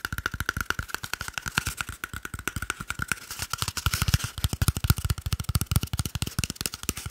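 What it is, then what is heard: Cardboard toilet paper tube. A small, hollow, empty cardboard toilet paper tube is held in one hand and quickly tapped and scratched with the fingertips and short nails of the other hand. Dozens of rapid, dry, hollow taps with a low thumping body land over about seven seconds. Brief scratchy rasps run between them, and each tap dies away almost instantly.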